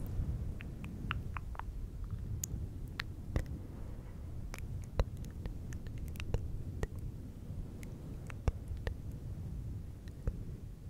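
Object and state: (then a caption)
Faux fur microphone windscreen being scratched. Fingertips of both hands rub and scratch a fluffy synthetic fur windscreen on a silver microphone. The sound is a steady, muffled low rumble of rustling, with many brief, sharp, bright crackles and clicks scattered throughout.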